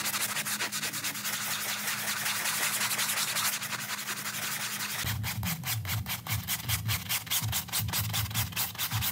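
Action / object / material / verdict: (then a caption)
scrape / printed synthetic-pile doormat rug scrubbed with a stiff-bristle brush / synthetic pile / none. A gloved hand vigorously scrubs a small, wet, soap-foamed printed synthetic-pile doormat rug with a round stiff-bristle brush. For the first five seconds there is a dense, bright, continuous scrubbing hiss over a faint steady low hum. It then shifts into rapid rhythmic back-and-forth strokes, each a crisp bristly swish with a soft low thump.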